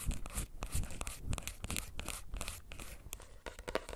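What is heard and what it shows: Fingernails tap rapidly and irregularly on a plastic earbuds case, making a quick run of crisp, clicky ticks. Each tap has a bright edge over a soft low thump and dies away almost at once, with faint crinkly texture between the taps.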